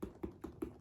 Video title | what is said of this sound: TORY BURCH Unboxing - #handbagunboxing - Tory Burch Dragonfly | tapping on it like it's sturdy